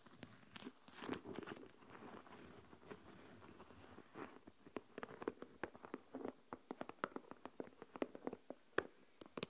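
Long manicured nails scratch and tap on the snap-on plastic lid of a small translucent plastic deli tub filled with coarse white salt. Soft, grainy scratching and rustling fills the first half, then gives way to a quick series of sharp, dry clicks and taps. Each tap stops dead with no ring, and the whole clip stays quiet.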